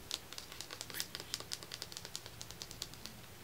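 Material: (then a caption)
Leatherette. A medium-sized closed hardcover journal, with a solid book block inside a dark red leather-like cover over board, is held upright and tapped rapidly with the fingertips and short nails of both hands. About two dozen quick, light taps sound as bright, dry clicks with almost no ring and little low end, over a quiet background.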